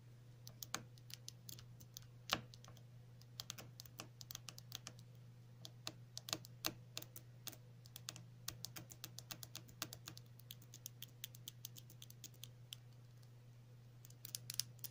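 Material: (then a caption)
Plastic. Long natural fingernails tap and scratch a small, hollow, white cylindrical plastic tube of the cream or lip balm type, with pink print, held in both hands. The result is a quick, irregular run of dry, bright clicks with almost no ring, over a steady low hum.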